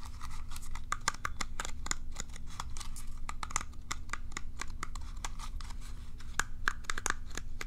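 Long nails scratch quickly back and forth across the curved plastic bristles of a cat self-groomer brush held near the mic. The result is a dense run of short, dry plastic clicks and scrapes with bright tops and a tonal edge near 1.6 kHz, over a steady low background hum.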